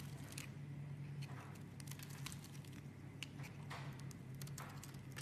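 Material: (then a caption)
Soap. A metal blade scrapes and shaves flakes off a solid, star-shaped bar of yellow soap held in the hand. Soft, dry crackling scrapes repeat over a steady low hum, each stroke brief with brighter rasping edges, and the soap comes away in thin flakes.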